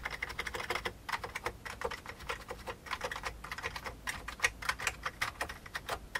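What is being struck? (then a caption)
Plastic computer keyboard. Fingertips type steadily on an old beige full-size plastic keyboard with hollow keycaps. The result is a quick, uneven run of short, dry key taps with a hollow plastic clack centered around 2 kHz and a bright top edge. The taps die away almost instantly, with very little low end.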